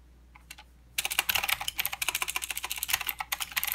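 Both hands type with their fingertips on a full-size mechanical keyboard with plastic keycaps and blue clicky switches. After a few faint taps, a quick, steady run of sharp, bright clicks begins at about one second and continues to the end. Each click is crisp and stops almost at once, with very little low end.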